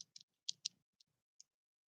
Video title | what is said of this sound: LIVE JEWELRY SALE | you can hear it shaking around in there